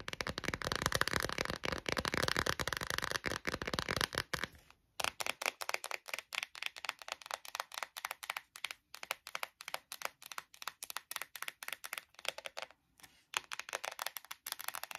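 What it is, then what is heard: Plastic phone case tapped with nails. Long nails tap fast on an empty clear textured plastic phone case, held and laid near the table. They make dense, bright, dry clicks with very little low end. A thicker, busier flurry runs through the first few seconds, then a short pause, then rapid separate taps broken by brief gaps.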